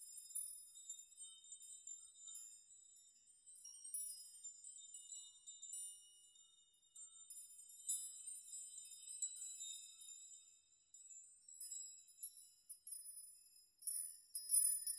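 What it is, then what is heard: Metal nail chime. A curtain of hanging metal nails is brushed and rocked by fingers, making a continuous shimmer of quiet, bright ringing clinks like a wind chime. The tones sit entirely in the high range with no low end, each clink ringing only briefly as new ones overlap throughout.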